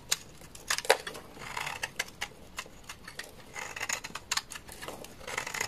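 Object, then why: Bar of laundry soap cut with a blade. A utility knife blade shaves flakes off the edge of a solid white bar of laundry soap. Quick, dry, crisp scrapes and clicks mix with longer bright rasping strokes. Each sound stops almost instantly, with no ring.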